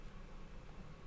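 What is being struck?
Nothing is struck.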